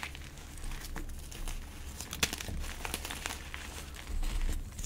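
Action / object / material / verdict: scrape / gym chalk block / chalk / none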